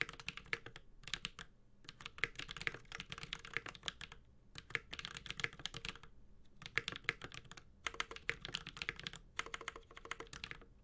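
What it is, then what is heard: Mechanical keyboard with plastic keycaps. Continuous fingertip typing with both hands on a 65% mechanical keyboard with ABS plastic keycaps and a metal case. The clip is a dense stream of short, bright clacks with a clicky mid-high tone and very little ring. The typing comes in bursts separated by brief pauses.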